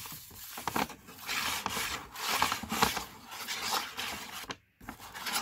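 Fingertips and medium-length painted nails rub and scratch across the printed front of a hollow, upright green and brown Body Shop kraft paper carrier bag with rope handles. The result is dry, bright, papery rasping in repeated swells with small sharp ticks, and a brief silence just before the final stretch.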